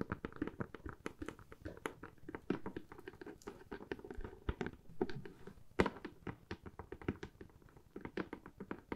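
Long manicured fingernails tap and scratch a medium, empty-looking, hollow corrugated cardboard box with a cut-out handle slot. Quick, dry taps with hollow low thuds come in a dense, irregular stream, and each one dies away almost at once. Soft scratching fills the gaps between them.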